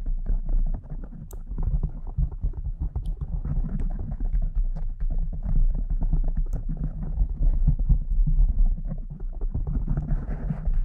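Long decorated acrylic nails on both hands scratch and tap a soft, porous, fist-sized pink foam windscreen on a silver condenser microphone. The result is a dense, muffled, low rumbling stream of rapid scratches and soft thuds, with occasional faint high ticks, getting slightly brighter near the end.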